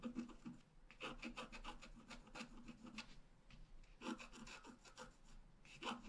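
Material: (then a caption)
Coated paper. A pointed wooden stylus, held in the fingers, scratches continuous strokes across a flat A5-size black-coated scratch-art card lying solidly on a table. The result is a dry, raspy scraping with bright, hissy texture, coming in clustered bursts of quick strokes separated by quieter, softer rubbing.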